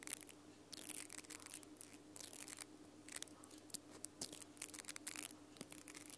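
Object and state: Plastic mascara spoolie brush.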